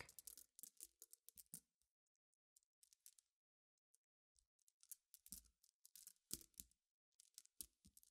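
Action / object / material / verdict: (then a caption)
tap / small flat glass pebbles tapped and stirred with fingernails / glass / none. Long painted nails tap, scratch and stir through a pile of many small, clear, solid flat-backed glass gems spread on black fabric. Bright, quick clicks and rattles come in irregular bursts separated by short pauses, each one dying away almost instantly.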